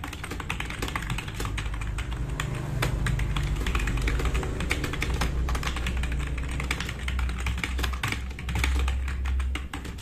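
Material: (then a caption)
Plastic. Fast typing with both hands' fingertips on a black RGB-backlit tenkeyless plastic mechanical keyboard with plastic keycaps, resting on a wooden desk. A dense, steady stream of short, sharp clicks and clacks rides over a low, constant hum near 86 Hz.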